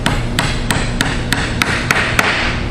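A small hammer lightly taps an axle into a wooden toy wheel and body, with eight short, sharp taps at a steady pace. The taps turn brighter toward the end, a distinct change in sound that shows the axle is fully seated. The axle still sticks out slightly, and the wheels turn.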